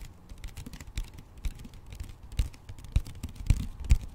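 Fingertips and nails tap and scratch the front cover of a solid hardcover book with a glossy paper dust jacket, held upright behind the microphone. Soft, dull low thuds come in an irregular run, mixed with faint papery scratching, and each tap dies away almost at once.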